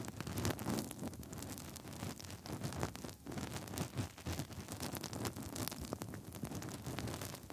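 Fingertips rub inside the hollow ear canals of the soft silicone ears on both sides of a 3Dio binaural microphone with fast, scratchy movements. The result is a continuous dense, muffled rubbing and crackling, heavy in low rumble with bright scratchy flecks, swelling and dipping without pause.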